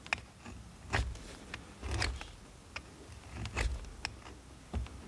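A steel multitool knife scrapes a solid blue bar of soap held in the hand, shaving it over a pile of shavings. Dry, bristly scraping strokes come in short bursts with soft low thuds, some stretching into longer rasping pulls, with quiet pauses between.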